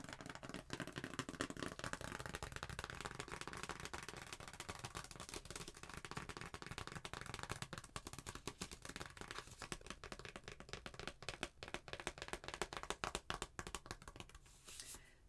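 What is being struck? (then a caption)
Paper envelope with a card inside. A thin, flat white paper envelope with stamps and address labels and a card inside is held in both hands and tapped and scratched with long painted nails. The result is a quiet, steady stream of rapid crisp taps and dry, papery scratching and crinkling, with a bright edge that continues for the whole clip.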